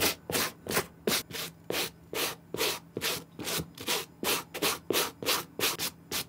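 A white plastic-bristle suede brush is stroked across the upper of a clean, dry green suede Nike SB Air sneaker with a gum sole, held in the hand. About 17 brisk, separate strokes make bright, scratchy rubbing hisses in an uneven rhythm, with short quiet gaps and little low end.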